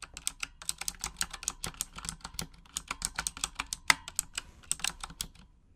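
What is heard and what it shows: Long acrylic nails type in Japanese on a full-size pink Razer Huntsman mechanical gaming keyboard with RGB backlighting and plastic keycaps. About thirty quick, bright, clicky taps come in an uneven typing rhythm, each dying away almost instantly, with a sharper louder click near the middle.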